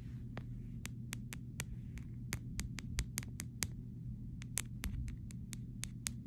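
A fingernail painted pink taps and scratches along the side rail of a clear plastic phone case resting edge-on on fabric. It makes a steady series of short, bright clicks over a constant low hum, each click dying away almost instantly.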